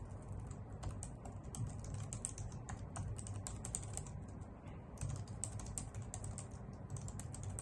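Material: Plastic.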